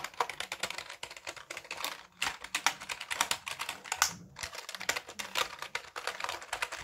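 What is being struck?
Plastic computer keyboard.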